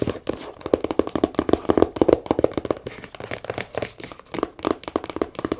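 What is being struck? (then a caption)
Small leather camera case. Long nails tap and scratch quickly across the top and sides of a small, hollow brown leather camera case with a zipper, first as it rests on a table and then after it is lifted. The result is a fast, uneven run of short, dry, hollow taps with soft scratching in between. The sound is centered in the low mids, with little deep bass and little brightness.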